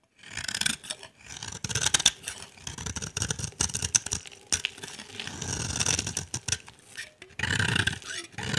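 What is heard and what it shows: A utility knife blade shaves the surface of a solid, dry, cream-white bar of soap held in the hand, cutting it into dry curls. The result is a run of bright, raspy scraping strokes, heavy in the high end, with short quiet gaps between passes.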